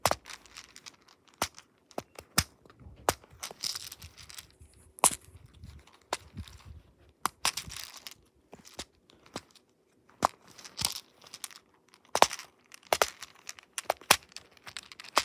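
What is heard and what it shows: Fingertips push down the colored silicone bubbles of a black plastic flower-shaped pop-it fidget toy, held in both hands, with its bead maze side briefly in view. Quick, irregular runs of sharp, bright pops and clicks cut off almost instantly. Soft crinkly rustling fills the gaps between them.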